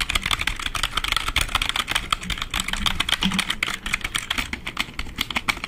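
Fingertips and fingernails rapidly tap and type on the keys of a black full-size plastic membrane keyboard held up in the air. The result is a dense, fast stream of short, bright plastic clicks and clacks with a faint low rumble underneath.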